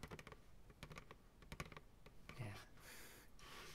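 A medium white plastic ice cream pail, hollow and empty, is held upside down on the lap and tapped on its base with the fingertips. A quick, irregular run of short, dull, hollow taps has a low body around 150 Hz and dies away almost instantly. The taps give way to a softer, breathy brushing hiss in the last second or so.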